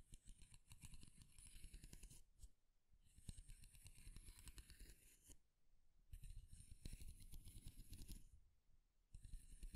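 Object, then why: Wooden comb. A light, solid wooden comb has its teeth strummed with fingernails, then fingertips rub and tap along its edge. The strumming comes in several bright, raspy bursts of quick clicks over a soft low thump, with brief quieter gaps between them. The sound is close and quiet throughout.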